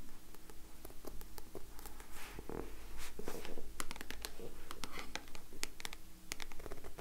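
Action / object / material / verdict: scrape / paperback book with card cover / card / none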